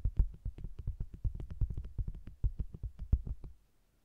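Long green-painted nails tap rapidly across the flat red front of a round, hollow, soft faux-leather (PVC) cosmetics bag with a text-printed red lid and zebra-striped sides, with a microphone zipped inside. The taps come through as a quick, uneven run of dull, deep, muffled thumps with almost no ring. They stop just before the end, leaving a brief silence.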